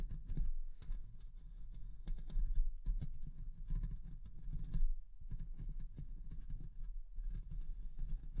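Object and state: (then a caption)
Metal microphone grille being scratched. Long nails on both hands scratch the hollow mesh metal grille of a Rode NT1-A condenser microphone. The result is a close, dense, muffled scraping that rumbles heavily in the low end, swelling and fading with brief quieter gaps.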